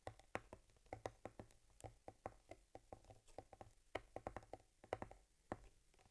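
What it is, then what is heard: Leather camera case. Long fingernails tap and scratch rapidly along the top leather panel and stitching of a small stitched cowhide leather camera case holding an Argus C3 camera. The result is a quick run of dry, muffled clicks centered around 500 Hz that die away almost instantly, with soft scratchy texture between the taps.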